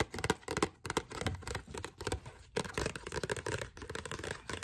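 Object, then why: Glossy printed paper card. Long, dark-painted fingernails scratch and rub a small, thin, flat glossy printed paper card with a forest picture and the words "First Things First," held in both hands. The result is a rapid string of dry, bright scratching strokes that start and stop unevenly, with a faint low thump under some strokes. The sound has almost no ring after each stroke.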